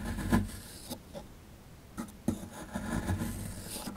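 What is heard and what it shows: A plastic chisel scratches and chips at a solid plaster excavation block held in the hand, working around a dinosaur tail. Bursts of dry, gritty scraping are separated by a quiet pause, with two sharper chipping clicks standing out. The sound is close and soft, weighted toward the low end.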